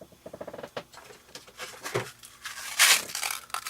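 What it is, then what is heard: Spray bottle rattling with mixing ball bearings. A bottle of Glimmer Mist shimmer spray is shaken, and the metal mixing ball bearings added to it rattle in quick, bright clicks that help the mica mix faster. The light rattling patters on and off, ending with a louder, bright hissing burst.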